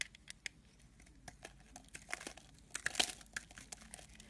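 A metal blade scrapes the edge of a solid white soap bar held upright, and crumbly shavings pile up below. The result is a quick run of about fourteen crisp, bright crackling scrapes with soft crumbly crunches and very little low end.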